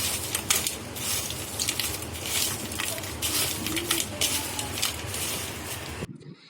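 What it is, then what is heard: Crispy fried okra. Fried okra (bhindi fry) is mixed with chaat masala, giving a dense run of dry, bright crunching and rustling crackles that stays busy for about six seconds before cutting off. The crisp crackle shows how crispy the fried okra turned out.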